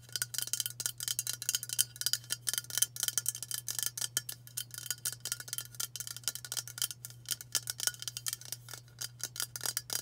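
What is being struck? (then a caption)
Aluminium aerosol spray can. Fast tapping with long matte burgundy nails on a hand-sized White Dove aluminium spray deodorant can, a hollow cylinder held in both hands. The clicks are dense, crisp and bright, each dying away almost instantly, over a steady low hum.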